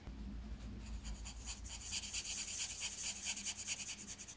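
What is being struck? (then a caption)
Paper sheet rubbed with marker tip. A marker tip held in the fingers rubs back and forth across a thin white paper sheet with outlined letters while filling in a letter, the other hand holding the page. Quiet, bright, scratchy strokes start faint and become a quick, somewhat uneven rhythm, over a low background hum.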